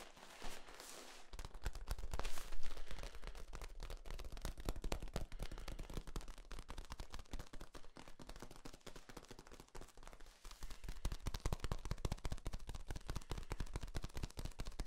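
Fingertips tap, squeeze and crunch the ridges of a long, hollow, yellow, ribbed corrugated plastic flexible tube held horizontally in front of the microphones. The result is a dense, irregular stream of quick, dry clicks and crackles with a low, thumpy weight and almost no ring. It continues steadily throughout, briefly peaking louder near the start.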